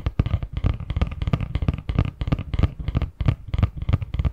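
Fingertips and nails tap and scratch the surface of a medium-sized, hollow, printed cardboard Christmas box lid held in both hands. The result is a quick, irregular run of dull, low, hollow thumps mixed with soft scratchy rasps, each dying away almost instantly with no ring.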